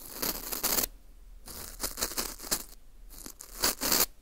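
A teal tool scrapes the surface near the hole of a small, hollow ring of dry, porous baked wheat gluten (fu) held in a gloved hand. The sound comes as bright, crackly, scratchy bursts separated by short pauses. The scraping has little low end and a papery, tearing texture.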